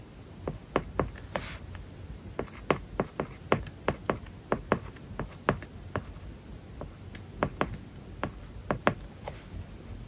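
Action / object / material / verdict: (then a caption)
scrape / Plastic stylus tip on a glass tablet screen covered with matte plastic film / plastic film / none. A plastic stylus tip writes strokes onto an iPad's glass screen covered with a matte plastic paper-like film, the tablet lying flat and solid. Quiet, dry taps and short scratchy strokes come in an irregular, steady rhythm, each stopping almost instantly with no ring, over a soft low background hiss.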